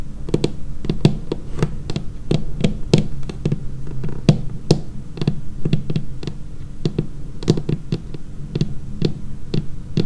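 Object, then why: Laminated wooden tabletop tapped with fingernails. Long painted fingernails tap rapidly and irregularly across the edge and surface of a dark laminated wooden tabletop. Each tap is a short, dry knock with a low woody body and a bright clicking tip that dies away almost instantly. The taps form a steady, close, rhythmic pattern throughout.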